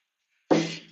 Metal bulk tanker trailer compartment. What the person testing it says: That one sounds empty.